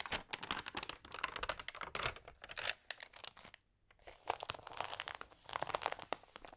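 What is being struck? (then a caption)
Paper magazine pages. Fingertips press and rub across the pages of a thin, damp paper magazine and turn them, making dense, bright crinkling and crackling with quick papery snaps. The crinkling pauses briefly near the middle before resuming just as busily.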